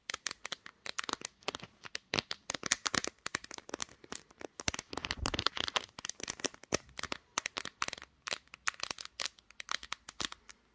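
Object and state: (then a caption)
Smartphone glass back tapped with fingernails. Long green nails tap quickly and scratch across the glossy pink glass back of a smartphone held in a tripod clamp. Dozens of sharp, bright, dry clicks come in rapid, uneven bursts, with faint scratchy rustling between them and almost no low end.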